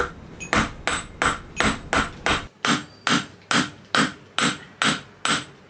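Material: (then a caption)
Silver, steel. A small solid silver bar, held in pliers on a steel anvil, is struck repeatedly with a steel hammer in a steady rhythm of sharp metallic knocks. Each blow also sets the anvil ringing with a bright high tone, which fades quickly before the next strike.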